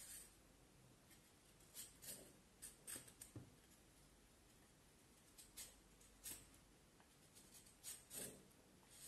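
A small knife blade shaves and scrapes along a solid peeled vine wood branch about forearm length, held in one hand, in short carving strokes as curls of wood shavings fall onto the table. About ten quiet, dry scraping strokes stand out over a soft background hiss, with bright, rasping high tones and little low end.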